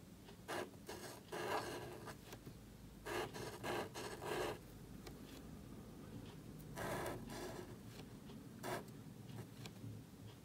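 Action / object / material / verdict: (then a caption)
scrape / thin paper cardstock card under a marker nib / cardstock / none. A marker nib scratches across a small, thin black cardstock card held flat while lettering. Short bursts of dry, bright scratching come in clusters of strokes with pauses between them, over a faint steady low hum.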